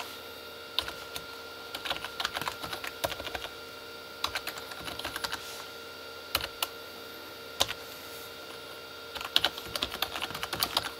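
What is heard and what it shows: Both hands type with their fingertips on a full-size Corsair K35 mechanical keyboard with red-backlit plastic keys. The result is bursts of quick, bright, dry clicks and clacks with very little low end, separated by short pauses over a faint steady background hum.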